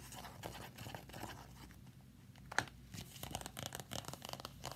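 A thin, flat red Five Star glossy plastic folder, held upright against the chest, is tapped and scratched with long nails. Soft, crackly scratching comes in uneven bursts, with one sharp, bright tap standing out near the middle.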